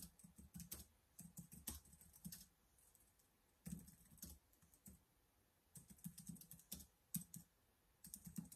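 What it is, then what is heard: Plastic laptop keyboard. Fingertips type and press keys on a black plastic laptop keyboard in quick bursts separated by brief pauses. Each keystroke is a soft, low thud with a bright clicky edge that dies away almost at once.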